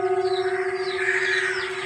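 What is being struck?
Nothing is struck.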